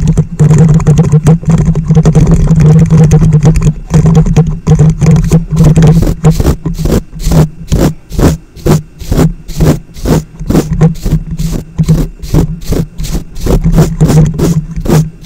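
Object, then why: Plastic wide-tooth comb. A large, wide-tooth plastic comb held in both hands right in front of the microphone has its teeth strummed and scratched. At first it is a dense, continuous low rumbling rasp; after about six seconds it breaks into quick, uneven bursts of deep, thumpy scrapes that sound close and boomy.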